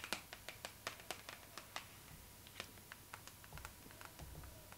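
Long pink acrylic nails tap and scratch across the glossy paper cover of a Vogue magazine lying flat. The result is a quiet run of sharp, bright clicks that fade quickly, spaced irregularly and easing into softer ticks and light scratching, over a faint steady tone and brief low rumbles.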